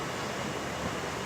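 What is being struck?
Nothing is struck.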